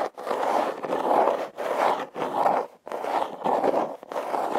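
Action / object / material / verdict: scrape / corrugated cardboard box / cardboard / none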